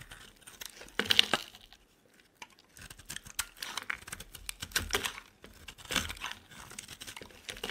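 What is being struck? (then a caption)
Bar of soap. A utility knife carves the end of a solid purple bar soap in repeated scraping cuts, with shavings piling up. The cuts make bright, crisp, crackly scrapes in short bursts, broken by a brief quiet stretch near the start.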